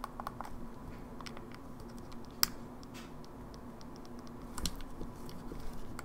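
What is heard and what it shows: Long nails rapidly tap and press the face buttons and D-pad of an open, small, hollow silver plastic Game Boy Advance SP. Quick, light, bright plastic clicks patter over a steady low hum, with one sharper, louder click near the middle and a denser flurry of taps toward the end.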